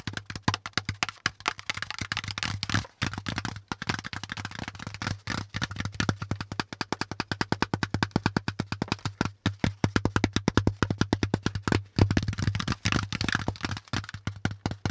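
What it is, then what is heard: Corrugated cardboard packaging insert. Fingertips tap rapidly on a brown corrugated cardboard packaging insert with folded compartments, striking both its ridges and its flat panel. The result is a fast, continuous stream of short, dry, hollow taps that die away almost instantly, with a steady low hum beneath them.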